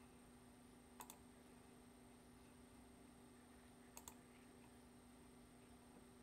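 Fingertips tap the keys of a black plastic computer keyboard, giving four quiet, sharp clicks in two quick pairs about three seconds apart. A steady low hum and faint hiss run underneath throughout.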